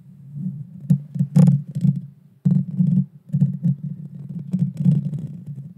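Long painted fingernails scratch directly across the bare metal mesh grille on the hollow head of a Blue Yeti Nano small USB microphone. The scratching comes through as a dense, muffled low rumble with rough bursts and a few faint bright ticks, and it breaks off briefly before resuming.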